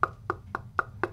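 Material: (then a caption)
Aluminium. Five knocks on the side of a small aluminum-housed monitor speaker cabinet, evenly spaced about a quarter second apart. Each knock gives a bright, pitched tok around 1.4 kHz with tones near 400 Hz and 1 kHz, ringing briefly. The cabinet sounds resonant rather than inert, consistent with a build that is less dead than a comparison cabinet.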